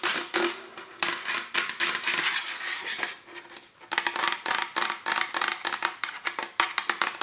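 A tall printed aluminum Star Wars drink can, hollow and apparently empty, is held in both hands while fingertips and nails tap and scratch its metal body and ends. Quick bright taps and scratchy rasps come in irregular bursts with a short metallic ring, pausing briefly near the middle before resuming.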